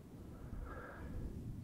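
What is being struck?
Nothing is struck.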